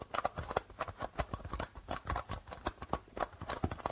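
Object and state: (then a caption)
Darbuka drum with plastic head. Flat fingers tap rapidly on the plastic head of a hollow darbuka drum. The result is a quick, uneven run of short, dry, hollow taps in the mid range, each dying away almost at once, with occasional deeper thumps.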